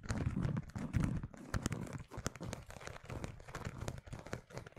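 Fingernails tap and scratch the surface of a red pebbled faux leather zip wallet with metal studs, held in front of the microphone. The result is a dense, irregular run of soft, dull taps mixed with scratchy, crinkling rasps, heavy in the low end and quickly damped, with occasional brighter clicks.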